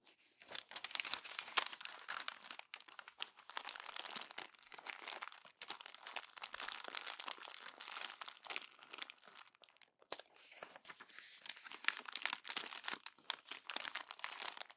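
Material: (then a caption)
Glossy paper. An open, thin glossy paper magazine lying flat has its pages gathered and crumpled by hands with long orange nails. Dense, bright crinkling and crackling comes in bursts, with brief pauses near 2.7, 5.5 and 10 seconds. There is almost no low end.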